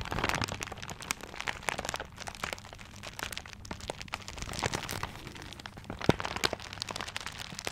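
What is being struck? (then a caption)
Gift wrapped in paper. Fingertips scratch and crinkle the wrapping paper of a paper-wrapped gift close to the mic. A dense stream of dry crackles and crinkles with sharp, bright clicks rides over a faint low hum, swelling and easing throughout, with a few louder snaps near the end.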